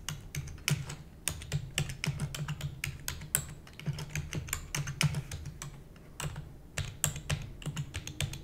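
Long nails type rapidly on a black plastic computer keyboard, producing a dense stream of sharp, bright clicks and clacks. A steady low hum sits underneath the typing.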